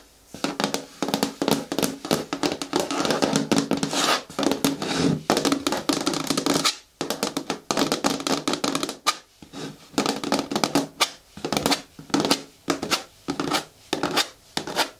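Long nails tap quickly against the side walls of an upright green hard plastic bin with a lid and a handle. The result is dense, rapid clicky taps with a hollow plastic tone around 280 Hz and bright edges. Each tap dies away almost instantly, and the bursts are broken by brief pauses.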